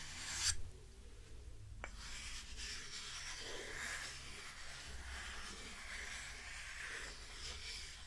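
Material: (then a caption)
Wood. A small solid light-wood hexagonal block, held in one hand, is scratched and rubbed with long painted fingernails close to the mic. A brief bright scrape and a single soft tap open the clip, then a steady, airy scratching and rubbing continues over a low background rumble.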